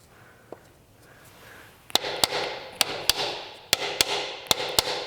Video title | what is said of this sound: C4 Corvette Rear Main Seal replacement, Episode 6 | it sounds really solid when I'm tapping on it it sounds really solid so I'm sure I'm all the way in